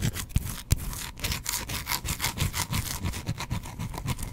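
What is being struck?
Bar of soap.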